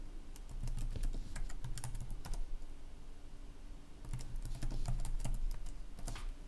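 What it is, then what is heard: Plastic laptop keyboard being typed on. Fingertips of both hands tap the keys of a black plastic laptop keyboard while typing, making quick, uneven bursts of light, bright clicks. A steady low hum runs underneath, and the typing comes in two flurries separated by a brief lull.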